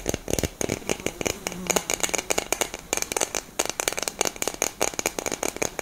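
A hollow black cylindrical metal aerosol deodorant can with a grey cap is held close and tapped and scratched with long nails. About 30 quick, dry, clicky taps with almost no ring stand out over bright, scratchy rasping. The sound is crisp and high-heavy, with little low end.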